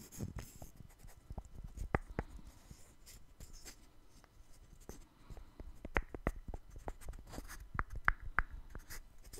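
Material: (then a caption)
Wood. A small light-wood puzzle of interlocking solid blocks is held in both hands and scratched and tapped with the fingernails. Quiet, dry scratching is broken by sharp, short taps that die away almost at once, in an uneven rhythm. A few taps give a brief hollow tone, and the taps grow busier toward the end.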